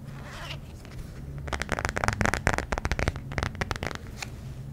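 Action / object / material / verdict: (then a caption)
tap / thin soft plastic phone case / plastic / none. An empty, thin-walled, transparent soft plastic smartphone case is held close to the mic and tapped and scratched with fingertips and nails. A soft scratchy rustle opens the clip, then a quick, uneven run of light, crisp clicks and scrapes with bright edges follows over a steady low hum before it fades back to quiet.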